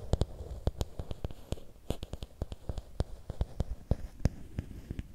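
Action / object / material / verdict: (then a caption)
tap / bamboo stick / bamboo / none. Fingernails tap and scratch along a long, thin, solid bamboo or wooden stick held in both hands. About 25 short, dry clicks come at an uneven, quick pace. Each click dies away almost instantly, with a low, soft body and a faint scratchy rustle between taps.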